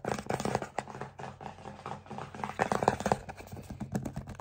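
An Aveeno 354 ml plastic pump bottle filled with cream, held in both hands, is tapped fast with fingertips and short nails. The result is a dense run of quick, dry plastic clicks and taps with a hollow knocking tone and almost no ring.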